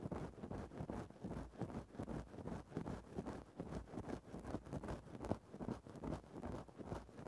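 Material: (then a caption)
Synthetic fur. A thin bamboo stick held in the fingertips scratches into a grey synthetic-fur microphone windscreen. It makes soft, muffled, low-heavy rustling scrapes that repeat unevenly at about two to three strokes per second, with no bright top end.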